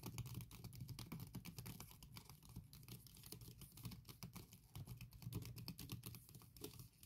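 Long red painted nails tap, scratch and type fast across the keys of a MacBook Pro 16-inch aluminium laptop keyboard covered by a thin patterned silicone keyboard skin. The result is a dense, continuous patter of soft, muffled clicks with a low thumpy body and faint bright scratchy edges. Each tap dies away quickly.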